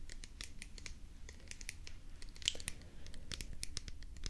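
Long nails scratch and tap the sides of a hollow white plastic pump bottle. A quick run of short, bright, dry clicks and scrapes with no ring-out sits over a low, steady rumble, at a soft overall level.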